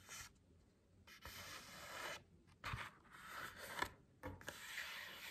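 Long acrylic nails scratch and tap the printed cardboard back cover of a hardcover book held upright. Bursts of dry, bright rasping scratches are broken up by short gaps and a few sharper taps.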